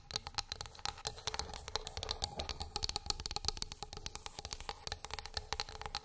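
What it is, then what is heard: Wooden plate tapped with fingernails. Long pink acrylic nails rapidly tap and scratch a flat, light, solid wooden plate or board lying on a fluffy rug. A quick run of crisp, bright clicks rides over a soft scratchy texture, with a faint high tone and each tap dying away almost instantly.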